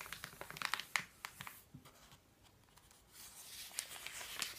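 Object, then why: Paper phone book pages. Hands smooth the pages of an open paper phone book with the palm while fingertips turn its thin paper pages. Quick, bright, crisp crinkles and rustles come in a cluster, then a brief quiet pause, followed by a softer, sustained papery sweep with a few sharp flicks.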